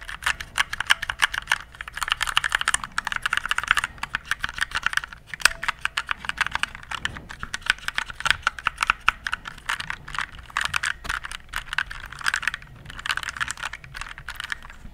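Fingertips type steadily on a compact RGB plastic mechanical keyboard, producing a fast stream of sharp, bright clacks centered in the upper mids. Each keystroke snaps off almost instantly with little low end. Short pauses near 4 and 12.5 seconds interrupt the typing before it resumes.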